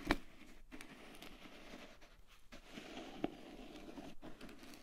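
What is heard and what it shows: A closed, medium white plastic cream jar with a blue plastic lid is tapped and scratched on its sides and lid by long decorated nails. Soft, steady scratching and crinkly rubbing fill the clip, broken by a couple of sharp, short plastic taps with a mid-low hollow tone.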